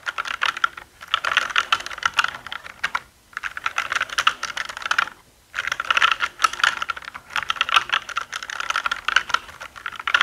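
Fingertips type and tap continuously on a black mechanical keyboard with plastic keycaps and a hollow body. The result is a steady stream of bright, short clicky key strikes in bursts, with brief pauses near 3 and 5 seconds.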